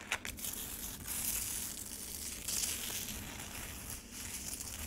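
Long nails grip the edges of a black rectangular plastic tray holding a solid frozen lemonade slab with a crushed-ice patch, then scratch across the icy surface. The result is a steady, bright, crunchy scraping with a few sharper crackles, mostly high in tone with little low end.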